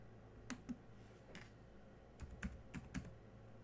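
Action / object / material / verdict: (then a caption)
tap / plastic laptop keyboard keys / plastic / none. Fingertips type on the black plastic chiclet keys of a silver laptop, producing seven soft, short clicks in two loose bursts with quiet pauses between them. Each keystroke is a brief, dull tap with a low thud and a faint bright tick, dying away almost instantly.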